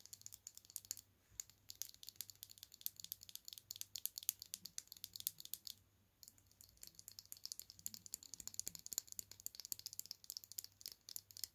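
A small orange plastic liquid lipstick tube with its cap on, full of product, is held in both hands and tapped and handled with fingertips and medium-length nails, and the cap is twisted. The result is a quiet, dense stream of very short, bright plastic clicks and light rattling. A brief pause comes just before the tapping resumes.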